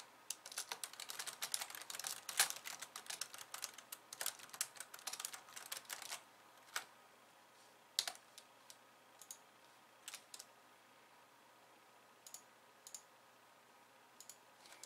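Long nails type on a pink low-profile plastic keyboard with white keys resting on a wooden desk, partly with one hand. A dense run of bright, crisp plastic key clicks fills the first six seconds, then thins to scattered single taps over a quiet background.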